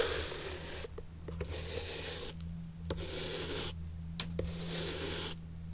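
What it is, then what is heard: Old leather shoe sole being brushed. An antique leather shoe is held on its side with its leather sole up while a natural bristle brush is rubbed across the sole. Four long, bright, hissing brush strokes sweep across the sole, separated by short pauses with a few light ticks. A steady low hum runs underneath throughout.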